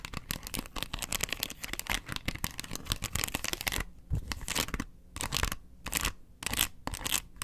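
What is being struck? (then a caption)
Plastic box lid. Long nails scratch across the ridges of a round, hollow yellow plastic box lid. The result is a dense, bright, rasping scratching for the first few seconds, then shorter bursts separated by brief quiet gaps.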